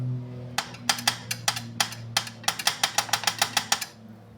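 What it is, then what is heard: Loose motorcycle engine guard. A loose metal engine guard (sump protector) under a Dominar 400 motorcycle engine is moved by hand, giving 19 quick, sharp metallic knocks over a low steady hum. The knocking sounds like it comes from the engine, but the guard is loose because both of its mounting bolts had come out.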